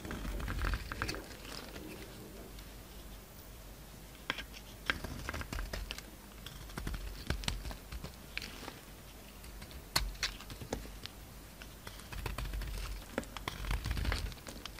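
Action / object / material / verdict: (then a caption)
scrape / bar of soap / soap / none. A utility-knife blade shaves and scrapes a solid oval pink bar of soap held in the palm, piling up pink flakes. Irregular, dry scratchy strokes with sharp crackly clicks sound over a quiet low rumble.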